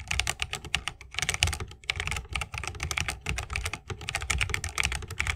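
A 60% mechanical keyboard with a bamboo case, plastic keycaps and Holy Panda switches is typed on continuously with the fingertips of both hands. Rapid, overlapping keystrokes give bright clacks over a deep, thocky thump, each dying away almost at once, with only a few brief pauses in the flow.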